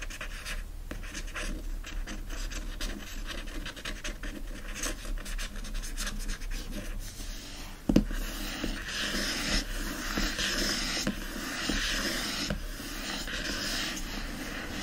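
Steady dry scratching and rubbing of fingernails across a hardcover book's papery board cover.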